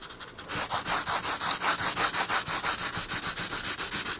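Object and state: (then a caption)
Pencil shading on a paper sketchbook page. A pencil shades a paper sketchbook page with dense strokes, rubbing on the paper. Quick, soft strokes begin faintly, then settle into a steady, rhythmic back-and-forth scratching. The sound is bright and airy, with almost no low end.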